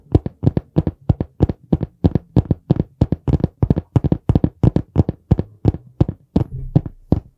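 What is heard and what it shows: Fingertips tap and knock quickly on the solid board cover of a dark brown hardcover notebook held in both hands near the mic. A fast, somewhat uneven run of short, dry, low thuds with almost no ring follows, with a brief softer sustained sound near the end.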